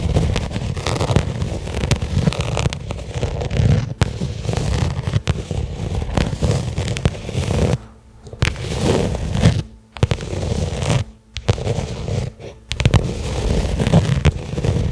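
A small, flat black pebbled-leather case lying on carpet is tapped and scratched with long nails. The sound is a dense, muffled run of low taps and rough scratching with little bright content, broken by brief quiet gaps near the middle before the tapping resumes.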